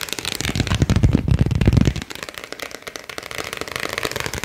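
A single thin printed paper card is held close and bowed and flexed with the fingertips and thumbs, giving rapid, irregular snapping crinkles. For the first two seconds the crackles are loud and dense with a heavy low thump, then they drop to a quieter, lighter crinkling for the rest of the clip.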